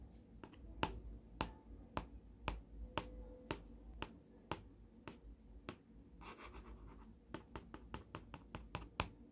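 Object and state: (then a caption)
Plastic cutting mat tapped with a pencil. The sharpened graphite tip of a wooden pencil taps repeatedly on a solid, flat green gridded plastic self-healing cutting mat, making about 20 sharp, dry clicks that stop almost instantly. Around the middle, the taps give way to a brief, rapid scratchy patter before the distinct taps resume.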